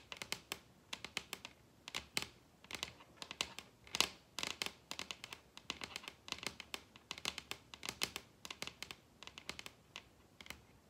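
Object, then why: Wooden tabletop. Long red acrylic nails tap and scratch across the large solid wooden tabletop of a dining table in quick, irregular bursts. Each tap is a sharp, bright click that dies away almost at once, with little low-end weight, and light scratching fills the gaps between clusters of taps.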